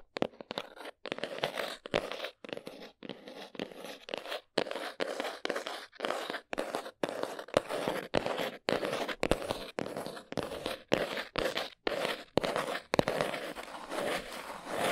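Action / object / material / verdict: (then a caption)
scrape / cardboard box / cardboard / none. Long nails scratch and tap the folded flaps of a small brown cardboard box held with its flap end forward. The result is a steady run of short, dry, crunchy bursts of scratchy noise centred in the midrange with a bright edge, separated by brief silences, with the last few seconds turning into a more continuous rasp.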